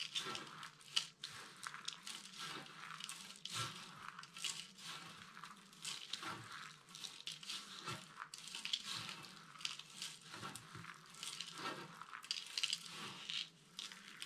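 Both hands press and rub with fingertips and palms through a loose pile of small, dry, brittle pastel soap chips spread on a flat surface. The result is a steady, bright crinkling crunch with louder bursts of crushing as the solid flakes break, and very little low end.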